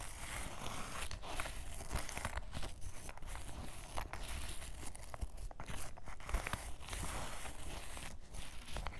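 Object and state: Canvas fabric waist bag.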